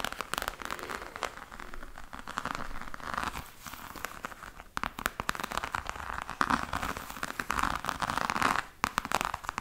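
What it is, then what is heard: Faux leather hard case. A black croc-embossed faux leather hard case with a metal clasp is scratched and tapped by long nails. The result is a dense, continuous run of crackly, crinkling scratches with quick dry taps, centered in the mid range around 1 kHz.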